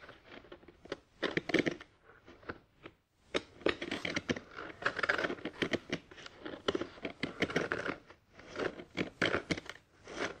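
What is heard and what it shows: Fingertips of both hands tap and scratch a molded grey paper pulp tray sitting inside an open cardboard box. Dry, papery scrapes, crinkles and soft crunchy taps come in bursts, with brief quiet gaps between them.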